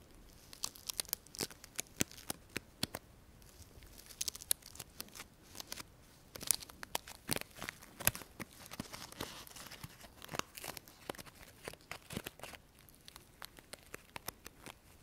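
A small artificial flower made of dry sola wood, with thin layered petals, is held in the hand and scratched and tapped with fingernails. It makes a dense, irregular run of sharp, dry crackles and crisp ticks with a bright, papery texture. Each click stops almost instantly over a faint hiss.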